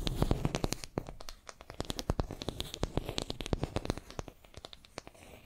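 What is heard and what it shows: Long nails scratch and tap a small, solid wooden makeup brush handle held in both hands between two microphones. The result is a rapid, uneven run of short, dry clicks and taps over a soft scratching texture, with a close, low-heavy body and bright tick edges that stop almost instantly.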